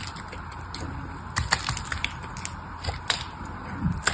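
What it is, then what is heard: Bar soap being carved. A craft knife blade carves and scrapes a palm-sized, partly cut-away red solid bar of soap, held by a hand with pink nails. Crisp, crunchy cracks and bright scraping ticks come in irregular bursts over a steady low background hiss, each snap dying away almost at once.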